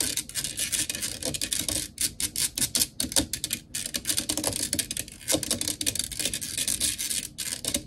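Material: Metal mesh.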